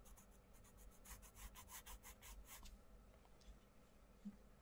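A wooden coloured pencil rubs and scratches across a paperback colouring book page resting on a wooden table, while fingertips hold the page. Quick, bright, papery scratching strokes repeat over a low background hum for about the first three seconds, then fade to a soft, quiet rustle.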